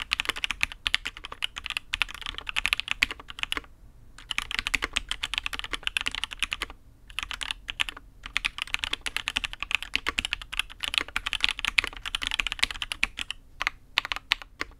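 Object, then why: Mechanical keyboard, aluminium case with ABS keycaps. A custom Matrix 8xv 2.0 mechanical keyboard with INK Black switches, a dark aluminium case and black and red ABS keycaps is typed on by the fingertips of one hand. Rapid, dense runs of short, bright clacks with no ring are heard, with brief pauses around 4, 7 and 8 seconds.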